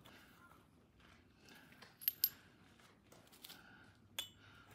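A bare hand drops small, flat, flattened tamahagane steel flakes onto a rectangular iron anvil block. Four light, bright metallic clinks ring out briefly over a quiet background, with two close together and the others spaced apart.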